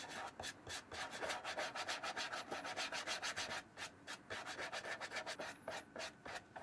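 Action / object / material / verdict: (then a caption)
scrape / leather shoe brushed with a bristle brush / leather / none. A wooden-handled bristle brush is rubbed repeatedly over the leather upper of a hollow brown leather shoe with a brass buckle, held in one palm. About 27 quick back-and-forth strokes, roughly three or four per second, each make a dry, bright, scratchy hiss with almost no low end. A brief quieter stretch falls near the middle before the brushing continues.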